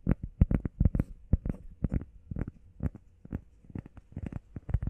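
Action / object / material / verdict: tap / EVA foam pad / EVA foam / none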